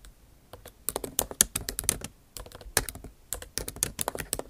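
Long acrylic nail tips type on the bare plastic keys of a backlit MacBook Pro keyboard set in an aluminum body. Quick, bright clicking taps come in uneven bursts with short pauses between them, each tap dying away almost at once.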